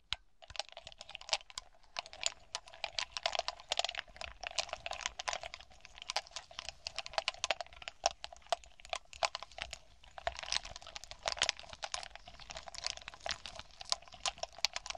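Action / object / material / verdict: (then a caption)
tap / cluster of small hollow glass baubles / glass / none. Long nails on both hands tap rapidly on a glass bauble grape cluster: small hollow smoky glass balls with green glitter and a ribbon. The result is a dense, continuous stream of quick, bright, clicky taps with very short ring, over a faint steady tone around 600–700 Hz.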